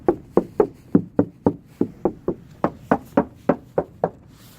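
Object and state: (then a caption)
Damped car trunk panel. Fifteen dull knocks on a car trunk's sheet-metal panel that has sound-deadening material added, with more planned. Each knock is short and low-pitched, with almost no ring, so the treated panel sounds damped rather than tinny.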